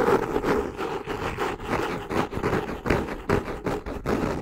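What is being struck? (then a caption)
Cork-covered hardcover notebook. Long painted nails scratch and tap the textured brown cork or kraft cover of a solid hardcover notebook with a yellow ribbon bookmark, held upright in both hands. Rapid, irregular dry scrapes and soft taps come in about ten short bursts, with a papery midrange body around 400 Hz and little low end.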